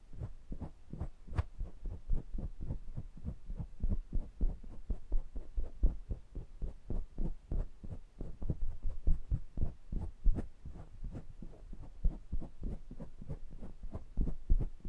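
Fingertips rub and tap the rims and hollow mesh-grille heads of a pair of small metal condenser microphones. A rapid, steady run of soft, muffled thumps sits almost entirely in the deep low end, each one short and dry with a throbbing, heartbeat-like feel. Occasional sharper taps add a faint bright tick.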